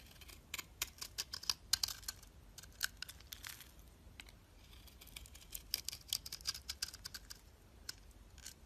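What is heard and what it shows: A utility knife blade shaves curls off the surface of a solid white rectangular bar of soap held in the hand. Quiet, crisp, bright scraping and cutting clicks come in quick clusters, with a brief lull near the middle.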